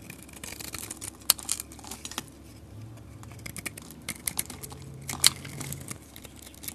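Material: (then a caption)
Soap. A metal utility blade scrapes and shaves flakes off a solid red-orange soap bar with a painted rim while the bar is held in the fingers. Soft, bright scraping and crisp crackling run throughout, broken by sharp clicky ticks, with a faint low hum underneath.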